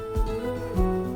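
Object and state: Nothing is struck.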